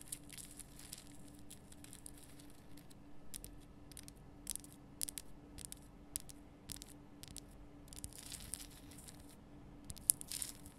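Long painted nails scratch and tap the rough surface of a large, illuminated pink Himalayan rock salt lamp, a solid crystal body with a bulb cavity inside, held between both hands. Quiet, bright, dry scratching bursts and sharp little taps come in irregular clusters, with a faint tap standing out near the end, over a steady low hum.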